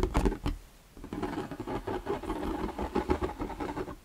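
An empty, hollow, translucent plastic shoe-style storage box is held in the hands while fingertips and nails tap and scratch its sides. Quick, dry, hollow taps with a low-mid plastic resonance come in a few quick knocks, then a brief pause, then a steady run of tapping mixed with light scratching. Each hit dies away almost at once.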